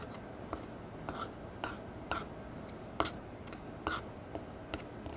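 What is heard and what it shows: A metal spatula scrapes and breaks pale pressed powder eyeshadow squares in a black palette into crumbly pieces. About a dozen short, dry, gritty scrape-and-crumble sounds with bright edges come at an uneven pace over a quiet, steady low background hiss.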